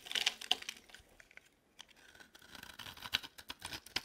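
A metal utility knife blade shaves and scrapes the edge of an orange, palm-sized dry solid soap bar. It makes a series of crisp, dry scratching and crackling bursts with quick fading, concentrated in the high range with a bright peak around 3 kHz and almost no low end. Louder flurries come at the start and end, with quieter scraping between.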